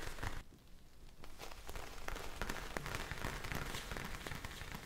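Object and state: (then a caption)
Plastic bag of gel beads. A clear plastic bag of small blue gel beads is held in the hands, tapped with long nails and shaken. It makes a dense, rain-like patter of soft clicks and crinkly crackles over a low rumble, easing briefly into a quieter stretch early on before the busy rustling picks back up and continues to the end.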